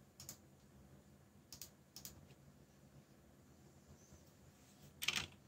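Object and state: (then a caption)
Mechanical keyboard with plastic keycaps. Fingertips tap the black plastic keycaps of a backlit mechanical keyboard while typing, making seven quiet, bright clicks. The clicks come in small clusters separated by pauses, and the last pair near the end is the loudest. Each click is sharp and dies away almost at once over a faint low background hum.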